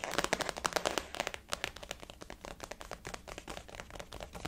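A blue floral-print glossy faux leather zip-around wallet resting on a table is tapped with the fingernails of both hands. The result is a rapid, steady run of short, dry, bright clicks with almost no ring, louder in the first second and softer afterward.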